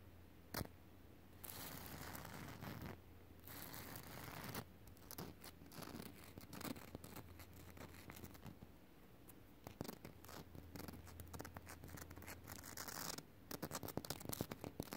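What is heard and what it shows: Fingertips tap and scratch on solid, rough concrete ground, making quiet, dry, scratchy bursts that come in uneven clusters with short pauses between them. The scratches carry a bright hiss over a steady low hum, and the taps stop dead with no ring.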